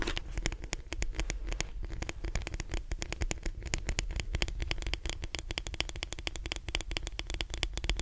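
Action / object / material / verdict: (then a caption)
scrape / plastic hairbrush / plastic / none. Fingertips and nails tap and scratch the back and bristles of a lilac plastic detangling hairbrush held upright. The result is a dense, steady stream of quick, dry clicks and scratchy ticks with a bright edge, over a constant low hum.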